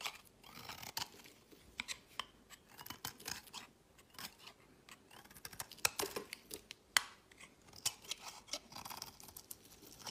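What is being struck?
Bar of soap scraped with a blade.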